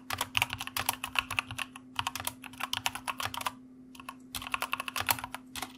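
Fast fingertip typing with both hands on a white plastic mechanical keyboard gives a quick run of sharp, bright clicks with short bursts and a brief pause near the middle. A steady low hum runs underneath throughout.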